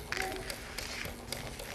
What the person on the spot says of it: you can hear the magnet going through the coils